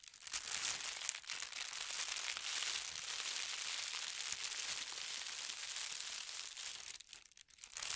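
Fingertips and nails press, rub and smooth a thin white tissue paper sheet with a gold star print lying flat on a bed. The result is a steady, bright, high crinkling and rustling with almost no low end, easing into a brief quieter gap near the end before picking up again.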